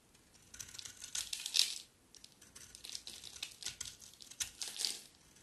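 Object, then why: Bar of soap. A utility knife blade scrapes thin curls off the edge of a solid, palm-sized green bar of dry soap held in one hand, and the soap crumbles into flakes. The sound is a bright, crisp crackling and scratching with almost no low end. It comes in a louder burst that peaks and stops abruptly, then a second stretch of quicker, lighter scrapes.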